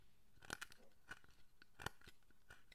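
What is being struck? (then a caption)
Carved wooden figure. A fine chisel scrapes detail near the face of a solid wooden statue of the guardian deity Zōchōten held in the hand. Short, crisp, dry scraping cuts crack out with bright edges over a quiet, close background, and each one stops instantly with no ring.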